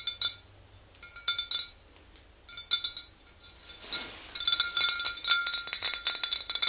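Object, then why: Glass swing-top bottle with liquid. A tall clear glass swing-top bottle, mostly full of yellow liquid and standing upright, is tapped on its sides with the long green-painted nails of both hands. Bright, glassy clinks come in irregular bursts, sparse at first and then dense and rapid toward the end. Each tap rings only briefly with a high, thin tone and almost no low end.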